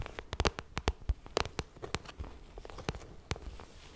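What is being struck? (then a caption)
Vinyl cosmetic pouch. Long nails tap and scratch the glossy plastic surface of a pink vinyl cosmetic pouch. Quick, dry clicks with no ring come in an uneven burst, separated by soft, crackly scratching and rustling. The sound is quiet, close and broadband, with a low thump under each tap.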